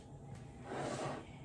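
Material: Nothing is struck.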